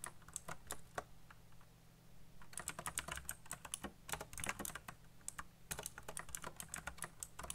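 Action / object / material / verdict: tap / plastic mechanical keyboard / plastic / none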